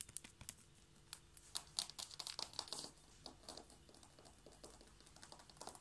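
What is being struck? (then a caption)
Wooden or laminate floorboards. Long, light-blue painted nails on both hands tap rapidly on flat wooden or laminate floorboards in front of a knit mat. The result is a fast, irregular run of dry, bright clicks with almost no low end. Each tap dies away instantly, with no ring.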